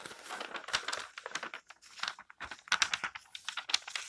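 Hands with long painted nails rub, smooth and turn the pages of an open, thin glossy paper magazine lying flat on a table. The result is a bright, crinkly rustle of paper, made of many quick, dry swishes and crackles with almost no low end.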